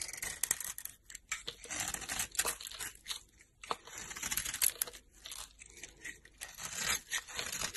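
A solid pink soap bar with a green glitter coating, held in hand, is carved with a utility knife blade into pink curls. Dense, bright scraping and crisp shaving crackles repeat in quick, uneven strokes with little low end.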